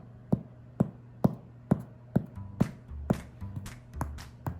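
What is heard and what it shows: A cooled fresh sourdough loaf is tapped repeatedly to check that it is airy and baked through, giving dull, hollow, low-pitched thumps with almost no ring. Music plays underneath, and the loaf sounds hollow, as a properly baked loaf should.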